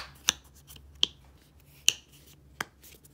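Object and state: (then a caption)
Plastic body wash tube. Long painted nails flick the blue plastic flip cap of a small, dark, hollow squeeze tube of body wash open and shut and tap on it. The tube is partly filled. Four sharp, bright clicks land at uneven intervals over a quiet background, each dying away almost instantly.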